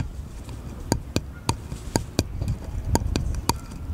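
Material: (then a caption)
Wood. Fingernails tap and scratch a small, solid, unfinished wooden bottle-shaped cutout held sideways. Sharp, dry clicks with almost no ring come at uneven intervals over a soft, low rumble, with faint scratching between them.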